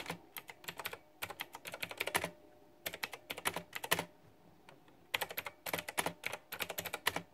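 Fast typing with fingertips and long nails on a white backlit plastic retro mechanical keyboard with round typewriter-style plastic keycaps. Around forty short, bright, clicky keystrokes arrive in three quick bursts separated by brief pauses, each click dying away almost instantly with very little low end.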